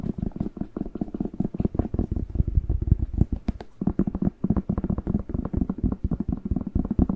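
Fingertips and nails tap and scratch the glossy skin of a whole, fresh, hand-sized red bell pepper with a green stem, its hollow body answering each tap. A steady run of soft, quick, dull taps with a low, hollow thump sits mostly in the low end, with faint scratchy texture between them and no ringing.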